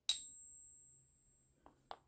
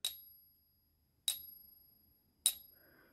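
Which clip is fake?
The first.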